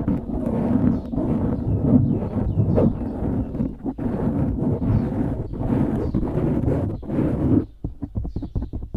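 Fingertips scratch quickly across a dark grey foam windscreen on a microphone, making a dense, muffled, low rumbling rustle that stays loud and steady. Near the end it drops to a quieter string of short, separate scratchy taps.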